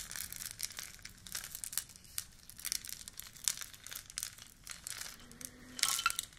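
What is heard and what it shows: Long nails scratch and tap the label and rim of a hollow orange cylindrical cardboard tea canister with a metal end cap as it is turned in the hands. The result is a steady stream of bright, crinkly scratching and quick dry taps with very little low end, building to a denser burst with a faint clink near the end.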